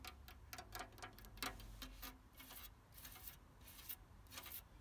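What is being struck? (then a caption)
Painted cast-iron garden chair. Fingertips and nails tap and scratch along the frame and pierced decorative panels of an ornate, white-painted, solid cast-iron garden chair with an openwork back and seat, standing outdoors among ferns. Quick, irregular, bright metallic taps with a short ring alternate with rougher bursts of scratching over a low background rumble.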